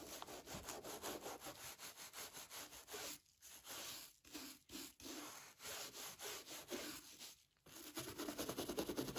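A small wooden welt brush is rubbed along the sole edge and toe cap of a hollow, dark brown leather derby brogue shoe held in a gloved hand. About fifteen quick, dry, bristly rubbing strokes come in uneven bursts with short pauses between them. Each stroke carries a bright, airy scratch that stops almost at once.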